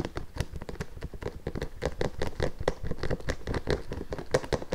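Fingertips and long nails tap and scratch the leather upper and sole edge of an empty pink nubuck leather boot. The result is a quick, uneven run of soft, dull taps mixed with dry scratching, with little ring after each touch.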